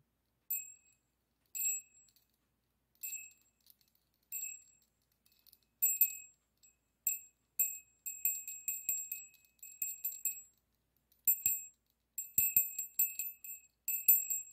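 A small hollow brass bell with an internal clapper, dangled from a yellow pipe cleaner between the fingertips, is gently shaken while a second bell rests untouched nearby. It gives quiet, bright, high tinkling rings in short bursts and quick clusters, each ring fading fast, with no low tones.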